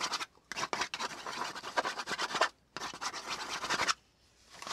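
A flat brown kraft cardboard sheet is held down by one hand while the tip of a black pen scratches back and forth across its surface. The scratching comes in bright, rasping bursts, each a flurry of quick strokes, separated by short silent pauses before it resumes.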